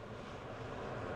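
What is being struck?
Nothing is struck.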